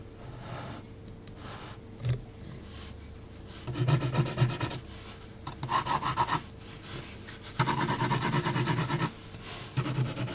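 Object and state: Pencil strokes on textured paper.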